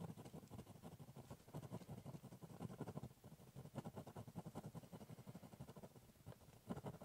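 A ballpoint pen draws short strokes on the top surface of a large, hollow, brown corrugated cardboard box. The result is a fast, steady run of dull, scratchy scrapes with a hollow, low-pitched resonance and very little bright high end. Each stroke dies away almost instantly.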